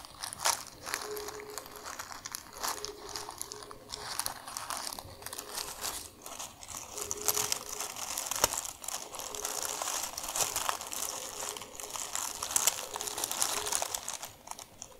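A thin, white, crumpled sheet of tissue paper from shoe packaging is held in both hands while long nails tap, scratch and crumple it. The result is a steady stream of bright, crisp crinkling and sharp crackles with quick taps, continuing for the whole clip with little low end.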